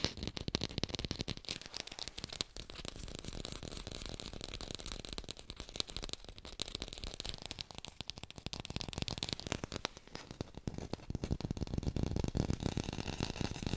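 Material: Plastic.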